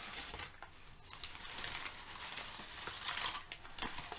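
Fingertips and nails lift, crumple and rub several crinkled sheets of thin brown kraft packing paper. The result is a steady, bright, papery crinkling with sharper crackles rising out of the rustle, mostly in the high range with little low end.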